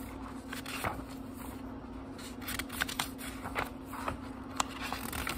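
Fingertips fan through the paper page block of a small book and turn single pages one at a time. Soft papery rustling is broken by crisp, bright flicks and short snaps as the pages fall, over a faint steady low hum.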